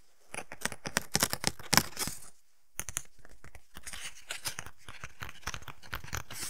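Fingertips and nails tap and scratch the surface of a small, flat, rectangular paper envelope or greeting card with a pink polka-dot pattern, held in both hands. Dense, crisp, bright clicks and papery scratches crackle on, with a brief pause partway through.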